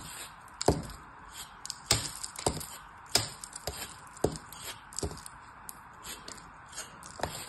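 A metal craft knife blade cuts and scrapes into a palm-sized, solid molded kinetic sand turtle held in one hand, slicing off thin slabs. Short, crisp crunching cracks with bright gritty scraping come at irregular intervals, each dying away almost instantly, over a faint steady hiss.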